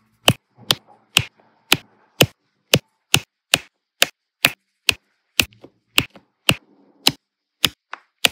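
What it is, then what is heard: Resin diamond-painting drills pressed onto adhesive canvas. A plastic drill pen with a metal-tipped nib, along with a wide plastic multi-placer tip, presses small solid round resin diamond-painting drills onto a flat, sticky adhesive canvas covered in rows of drills. About eighteen sharp, bright taps come at a steady pace, each dying away almost instantly, with faint soft rustling between some of them. Each tap sets a drill down onto the canvas.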